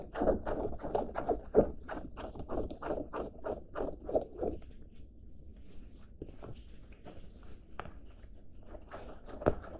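A blue cotton denim jacket is bunched in both hands and rubbed, scrunched and scratched with fingertips and nails. For the first four and a half seconds there is a quick run of dry, muffled scratching strokes, each a short rasp centred in the low-mid range. After that the sound settles into quieter, softer fabric rustling, broken by a few sharper scratches.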